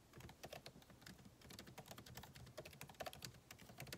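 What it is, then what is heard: Laptop keyboard typing. Fingertips type continuously on a backlit MacBook Pro keyboard, plastic keycaps set in an aluminum body. The result is a dense, quiet stream of short, crisp key taps with bright clicks over soft low thumps, each dying away almost instantly.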